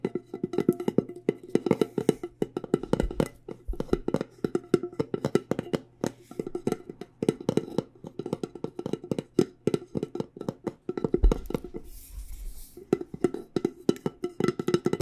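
Fingernails tap rapidly on the lid top of a medium, decorated, hollow cylindrical metal loose-tea tin. The taps come in fast, uneven bursts with brief pauses. Each tap is a dry, very short click with a hollow midrange ring that dies away almost instantly.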